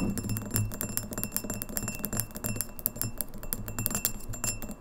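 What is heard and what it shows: Long nails tap fast on the sides of an empty, clear, etched Red Lobster pint glass standing on a table. Quick, crisp clicks land in a rapid, uneven stream over a steady low hum, with a faint high glassy ring above them.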